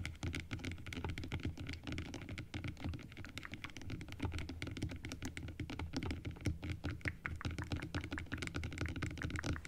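Long acrylic nails tap quickly on the teeth of an open plastic dental model. The result is a dense, steady run of short, dry clicks with a bright top, over a soft low thump that continues throughout.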